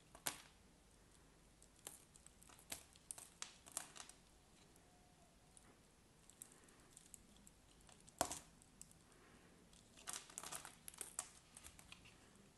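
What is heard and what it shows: A solid cream bar soap with a scored grid pattern and gold edges, held in the hand, is scraped and cut with a craft knife blade. Quiet, scattered crisp scraping and crackling clicks are heard, bright with little low end, as chips fall away.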